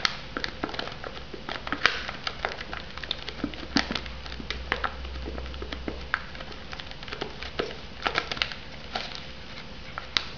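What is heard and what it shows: Long nails tap rapidly on the lid of a shrink-wrapped foam noodle cup. The result is a steady patter of light, sharp clicks with a bright crackly plastic edge, over a faint low hum.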